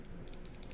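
A Norinco SKS rifle bolt is shaken after cleaning out the cosmoline that had held its steel firing pin stuck forward, a condition that can cause slam fires. A quiet, continuous, quick clicking rattle is heard as the pin moves inside the bolt. This shows the firing pin is free-floating and good.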